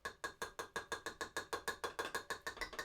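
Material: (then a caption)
Plastic. Tools are tapped 18 times in quick succession inside the plastic storage compartment of a Cricut Explore Air 2 cutting machine. Each tap is a sharp, bright click with almost no ring, because the compartment has no padding in the bottom, unlike the padded Maker tray.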